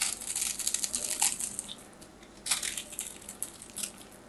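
A small knife blade scrapes and carves a solid, hand-sized white bar of soap held in the hand, sending flakes falling. The result is dense, bright, crackly scraping in two quick bursts, with a quieter pause between them.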